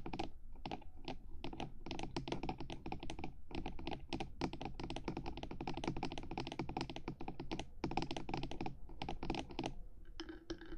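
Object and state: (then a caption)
Fingernails tapping a hard plastic microphone housing. Long nails on both hands rapidly tap the top edge of the black hard housing of a 3Dio binaural microphone, near its silicone ears. The result is a dense, continuous stream of crisp, clicky taps with short decays and a hollow low body under each hit.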